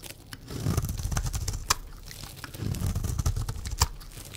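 A blade scores and shaves a green, rectangular, solid bar of dry soap held in the hand, cutting it into strips. Dry, crunchy scraping and crinkling carries a dense low rumble, broken by sharp, bright clicks as the blade bites through.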